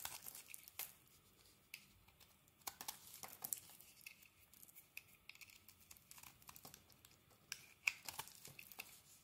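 A utility knife blade shaves a solid green bar of soap with a dark coating, and crumbly flakes fall off. Quiet, dry, bright scraping and crackling comes in short bursts with tiny sharp clicks, with almost no low end and no ring after each cut.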